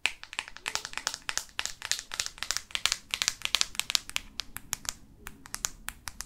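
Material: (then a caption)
Plastic. Long artificial nails tap rapidly on the matte plastic back cover of a black Microsoft Lumia phone held in both hands. The result is a fast, irregular stream of short, dry, bright clicks that die away almost instantly, with very little low end.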